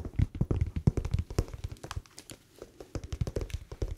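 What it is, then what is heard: Winter slipper. Fingertips tap rapidly on a winter slipper whose sole is not anti-slip, giving a leather-like tapping sound. Many short, dull, low thumps come in quick irregular bursts, with a brief quieter pause near the middle, and each tap dies away almost instantly.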